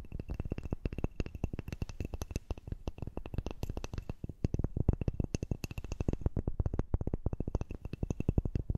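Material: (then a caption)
Wood. A small, solid, light unfinished wooden dumbbell-shaped toy with a thin handle and two ring-grooved ends is held horizontally close to the microphone. Long manicured nails tap and scratch it in a rapid, continuous stream of soft, dull clicks, heavy in low thud with very short ring and a faint bright edge.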